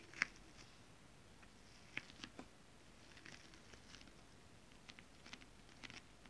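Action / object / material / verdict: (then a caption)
tap / holographic scale-print fabric / fabric / none. Long acrylic nails tap gently on a flat holographic mermaid scale-print fabric. Soft, irregular, bright clicks sound over a quiet background with faint rustling between taps, and each tap dies away almost at once.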